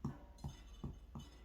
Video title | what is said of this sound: How to Bake Bread In a Chambers Thermowell - Modern Recipes for Your Vintage Stove | when you tap the bottom, it will sound hollow. And that's how you know that the bread is done